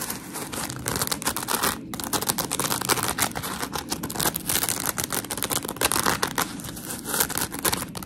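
Long pink acrylic nails scratch a palm-sized, solid rectangular block of coarse polymer foam scrub sponge, white on one side and blue on the other. The sound is a steady stream of rapid, gritty, crackling scratches with a bright, hissy top and little low end, continuing for about eight seconds at a fairly even level.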